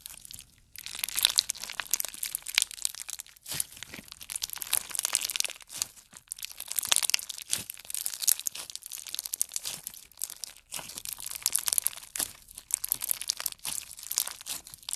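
Clear pink slime packed with plastic pearl beads is pressed and stretched by fingertips and thumbs. It makes dense, bright crackling and crunching, with rapid clicks and pops of the beads that come in bursts separated by short near-silent pauses. There is almost no low end, and the sound stays thin and crisp throughout.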